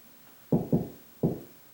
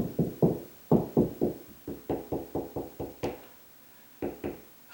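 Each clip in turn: First: Three low, dull knocks with a brief boomy body: a drywall ceiling sounding hollow, with no joist behind. Second: Knuckle knocks along a drywall ceiling turn higher and tighter over a joist, sounding solid.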